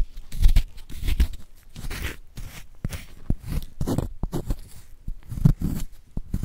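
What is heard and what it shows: A palm-sized solid magnesium carbonate gym chalk block, held in a gloved hand, is scraped and scratched with a wooden spoon, leaving a powdery surface. Close, dry crunching and gritty scraping strokes come in uneven bursts with short, sharp scratches between them. The sound is mostly low and thuddy, with brief bright edges.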